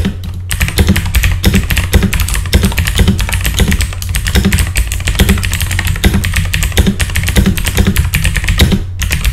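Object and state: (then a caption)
Mechanical keyboard with plastic keycaps. Fast two-handed fingertip typing on a full-size backlit mechanical computer keyboard with plastic keycaps, producing a dense, steady stream of short, crisp clicks and clacks. The strokes come in quick bursts that run together with hardly a pause, over a constant low hum underneath.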